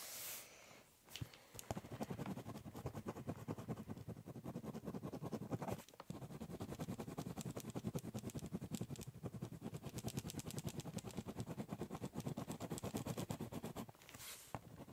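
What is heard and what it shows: A ballpoint pen shades with dense, fast scribbling on the top surface of a large, hollow, brown corrugated cardboard box. Rapid scratchy strokes run almost continuously, with brief pauses near 1, 6 and 14 seconds. The hollow box gives the scratching a low, drummy resonance beneath a faint high hiss.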